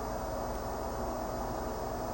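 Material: Nothing is struck.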